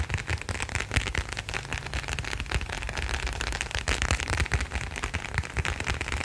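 A small, thin, flat black leather wallet, folded and held in both hands close to the microphone, is tapped and scratched with fingertips and nails. The result is a dense, steady stream of quick crackling taps and dull low thumps, with a scratchy, rain-like texture throughout.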